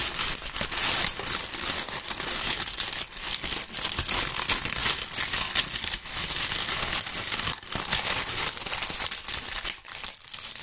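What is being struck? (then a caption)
Maple leaves crumpled by hand. Large, dry brown maple leaves are crumpled between two gloved hands, producing a dense, continuous crackling crunch. The sound is bright and crisp with almost no low end, holding steady for about ten seconds with only brief dips between handfuls.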